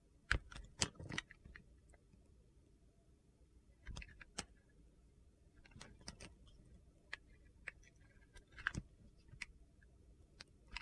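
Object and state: Bar soap being shaved.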